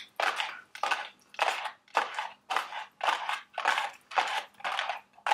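Long red acrylic nails tap and scratch around the sides and top of a small, hollow, printed cardboard Dubble Bubble gum Easter eggs candy box resting on a table. The result is a steady series of short, dry, crackly scratching bursts, roughly twice a second, centred in the midrange with a bright papery hiss and almost no low end. Each burst stops quickly with no ring.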